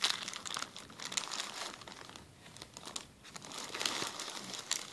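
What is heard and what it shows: A clear plastic zip-lock bag is pressed and crinkled by fingers on a table, making a steady stream of bright, crackly crinkles. The sound rises and falls in waves, with sharper crackles near the start and end and a softer dip in the middle.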